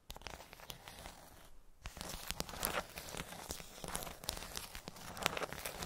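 Long nails tap on the tops of the hollow domes of a pink plastic bubble tray, making a steady run of sharp, bright clicks over a crinkly, rustling texture. After a brief quiet pause early on, the tapping grows busier and slightly louder, with a few stronger hits standing out toward the end.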